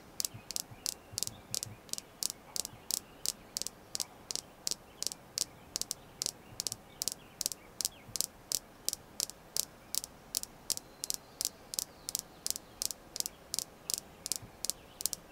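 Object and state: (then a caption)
Red jasper stone tapped with nails. A small, solid, polished red jasper star held in the hand is tapped with long manicured nails, about 45 times over 15 seconds. Each tap is a sharp, bright click that dies out instantly, repeating at a steady, quick pace over a faint hiss.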